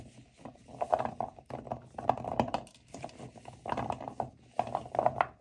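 Both hands rub and squeeze a pile of dry, solid natural cork wine stoppers in a white bowl. The result is soft, dry, squeaky creaking and rustling that comes in several bursts separated by short pauses, centred in the midrange with little low or high content.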